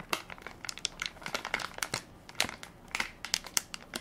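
A full, soft plastic-film baby wipes pack with a plastic lid is held in one hand while fingertips and nails crinkle and scratch its film top. A quick run of sharp, bright crinkles and scratchy crackles follows, each dying away almost at once, with little low end.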